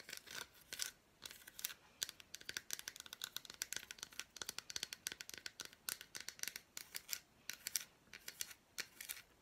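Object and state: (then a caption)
Milk chocolate bar tapped and scratched with fingernails. Long black nails tap and scratch across the squares of an unwrapped piece of solid milk chocolate bar with fruit pieces. Many quick, dry, bright clicks and crisp scrapes come in uneven bursts, each dying away almost at once, with almost no low end.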